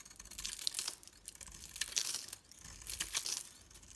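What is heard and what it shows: A metal blade shaves crumbly curls off a solid pink bar of soap with a green core, held in the palm. The result is a series of dry, crisp crunching and scraping bursts, bright and airy with almost no low end.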